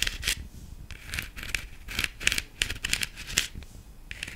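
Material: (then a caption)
Plastic. Long nails tap and scratch the stem and body of a black, glitter-covered hollow plastic decorative pumpkin. The result is a quick, irregular series of bright, crisp clicks and scratchy rubs centered around 2.6 kHz, each dying away almost instantly with little low-end body.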